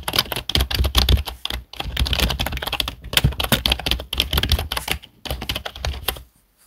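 Fingertips of both hands type quickly on a black plastic HP desktop keyboard, producing rapid bright clicks with a dull low thump under each keystroke. The typing comes in bursts separated by brief pauses, and the clicks stop short with almost no ring before the clip falls quiet at the end.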